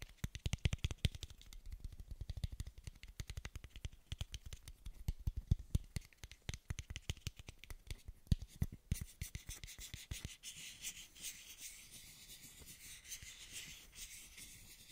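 A small, hollow, frosted translucent plastic measuring dose cap is held close to the microphone and rubbed and scratched with fingertips and nails. For about ten seconds there is a dense, rapid run of dry scratches and taps with deep, muffled thumps underneath. It then eases into a softer, steady, bright rubbing hiss.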